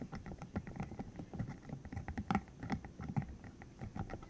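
A green hollow silicone cylinder about 15 cm long with rubbery spikes is held in the hands while its spikes are flicked, squeezed and rubbed with the fingertips. The result is a quiet, steady patter of soft, dull, rubbery taps and brushing, mostly low in tone with very little brightness. A few sharper flicks stand out in the middle.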